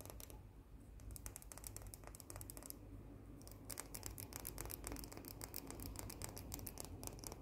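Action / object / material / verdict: tap / cookie with white chocolate coating / white chocolate / none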